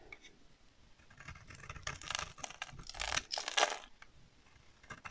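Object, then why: Bar of soap scraped with a blade. A solid pink oval bar of dry soap is held in one hand and scraped with a box-cutter blade, curling pink shavings off its surface. Quiet, dry crackling builds into louder, bright, crisp scraping bursts in the middle, then fades back to soft scratches.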